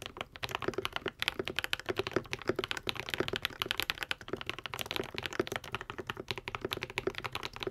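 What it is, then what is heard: Mechanical keyboard with plastic keycaps. A modded Epomaker TH80, a white and pink 75% mechanical keyboard with Akko V3 Cream Yellow switches and plastic keycaps, is typed on continuously with the fingertips of both hands. It gives a rapid, steady stream of short, crisp clacks, each with a bright top and a rounded low-mid thock that dies away almost instantly.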